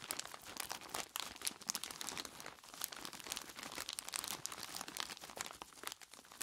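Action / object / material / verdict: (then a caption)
shake / plastic bag of ice cubes / plastic, ice / none. Both hands squeeze and rub a large clear plastic bag full of ice cubes with their fingertips, crinkling the plastic and crunching the ice. The sound is a dense, continuous stream of bright crackles and crunches with almost no low end and no ringing tail.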